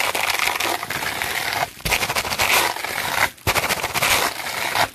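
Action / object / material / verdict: scrape / plastic bubble wrap sheet / plastic / none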